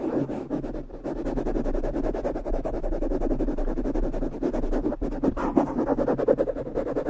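Fingertips on both hands brush and tap a small, soft, porous black foam windscreen fitted over the hollow head of a Blue Yeti microphone. The result is a steady, muffled, low-mid rustling made up of many quick, soft brushes and taps with no high-frequency content, continuing without pause throughout.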